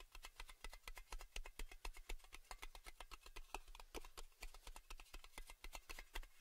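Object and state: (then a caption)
Metal tin lid. A round metal Baileys tin lid is held in one hand with its embossed bare-metal underside facing out while a fingertip and nail rapidly tap and scratch it. The result is a quick, fairly steady stream of short, bright, clicky taps with a little scratchy texture and almost no ring, over a faint low hum.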